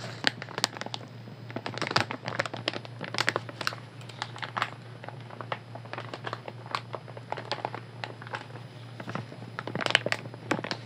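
A light blue soft plastic wet wipes pack, full of wipes, is held up in both hands and squeezed, crinkled and tapped with fingernails. Quick, bright crinkles and sharp little clicks come in dense bursts throughout, over a steady low hum.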